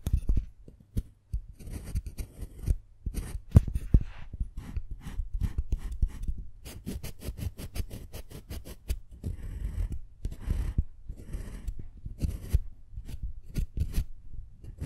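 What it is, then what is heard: Dark chocolate bar being carved. A large solid dark chocolate slab is scratched and carved with a small metal carving tool held by fingers with long pink nails, sending up curling shavings. Close, dry scraping and crisp scratching strokes come in quick bursts, with short gaps and a low, muffled rumble beneath.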